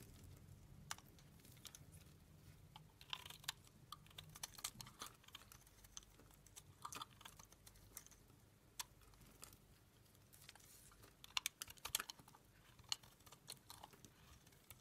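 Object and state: Dry bar soap.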